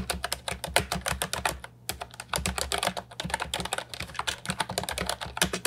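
Fingertips type continuously on a compact Ajazz 308I keyboard with plastic round typewriter-style keycaps, producing a rapid stream of short, bright clicky keystrokes with a brief pause near two seconds. A faint steady low hum sits beneath the clicks.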